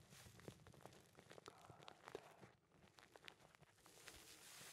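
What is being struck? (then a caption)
Filter-paper tea bag with dry tea leaves. A small filter-paper tea bag filled with dry tea leaves, its string hanging down, is held close and rubbed and squeezed between the fingertips of both hands. Soft, dense crinkling and rustling comes in many quick, closely packed crackles with bright, high hiss.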